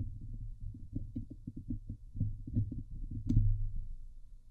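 Long nails on both hands scratch the hollow steel mesh grille of a Blue Yeti microphone. The result is a steady run of rapid, muffled, low thumping scrapes that stay deep and boomy, with one brighter, sharper scrape standing out near the end.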